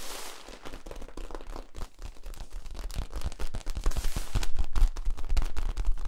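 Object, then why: Ribbed plastic tube. Fingers scratch along the ridges of a hollow yellow ribbed plastic tube held horizontally between two microphones, then the tube is compressed toward its cap. The result is a fast, uneven stream of dry, crackly scrapes and clicks with a deep, thumping low end, growing louder and denser over the last few seconds.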